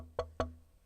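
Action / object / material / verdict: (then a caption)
knock / unfinished wooden guitar body / wood / none. Two hard knocks on an unfinished wooden guitar body with no electronics produce short, dull, woody thuds that die away quickly. The B harmonic and E-flat overtone the body gives off up close are not distinctly audible here, and a low steady hum sits underneath.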